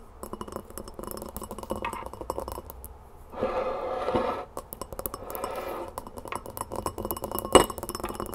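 Long nails tap quickly around the rim and sides of a large clear glass mixing bowl on a wooden table, which holds a little brown scrub with a metal spoon resting inside. Rapid, light glassy clinks with a short ring around 500 Hz alternate with brief scratchy stretches, and one sharper tap stands out near the end.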